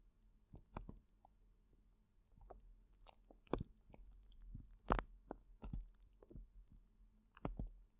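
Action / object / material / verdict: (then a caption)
shake / plastic zip bag filled with gel water beads / plastic, gel / none. Fingertips squeeze and knead a large clear plastic zip bag full of colorful gel water beads, the beads rolling inside. Quiet, irregular squelches and soft crackling clicks come in short bursts, mostly low and muffled with brief bright snaps.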